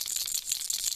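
A hard plastic lipless crankbait fishing lure with a single knocker and an internal chamber is shaken up and down. Quick, bright, high-pitched clicks and knocks rattle steadily through the second, with very little low end.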